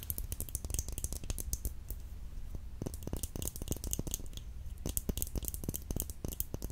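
Fingernails tap quickly on an essence nail polish bottle, making a steady stream of short, dry clicks with bright edges. The taps come fast and close together over a low, constant hum, with a brief quieter stretch near the middle before the rapid tapping resumes.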